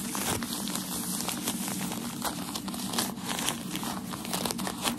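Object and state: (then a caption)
Crinkled tissue paper. Crumpled white tissue packaging paper from a shoe box is held in both hands while the fingers stretch, crinkle and rub it. A continuous, bright crinkling fills the clip, dotted with sharp crackles over a faint steady low hum, at an even level throughout.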